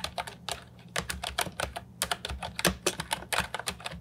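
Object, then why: Plastic mechanical keyboard with round keycaps. An Ajazz 308I brown and white plastic retro mechanical keyboard with round keycaps and a hollow body sits on a wooden desk while fingertips type continuously on it. A rapid run of short, crisp, bright clacks sounds with a faint low steady hum beneath.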